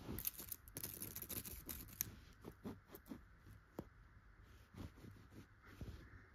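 A hand with long, pointed gold glitter nail extensions scratches across a yellow chenille fabric pillow with chenille tufts. The strokes make quiet, dry, scratchy rustles with a bright, high hiss. They are loudest and densest early on, then become softer and more spaced out.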